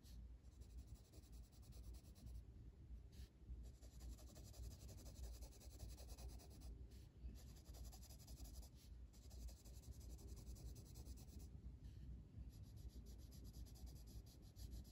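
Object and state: Colored pencil shading on a paper page.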